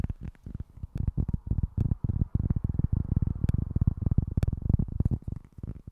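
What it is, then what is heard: Cork board. Fingertips and short nails scratch and tap a small, flat cork board with a speckled cork surface. The result is a rapid, uneven run of soft, dry, low thuds with very short decay, mixed with light scratching and an occasional faint bright tick.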